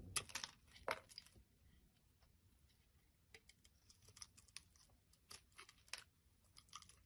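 A box-cutter blade shaves a solid, small, pink translucent glycerin-type soap bar held in the hand over a wooden surface. Crisp, bright scraping and crackling strokes come at an irregular pace, loudest in the first second, then continue as quieter, short shaving scrapes against a faint low background.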